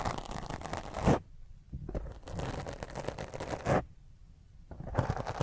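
Long fingernails scratch quickly across a black foam microphone windscreen, producing rough, bassy scraping and crackling bursts. Loud rubbing passes peak sharply near 1 and 4 seconds, separated by quieter stretches before the scratching resumes at the end.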